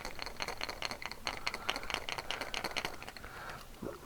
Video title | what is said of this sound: 6thsense premium Box | listen to the knock on this one really nice deep